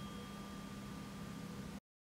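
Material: Nothing is struck.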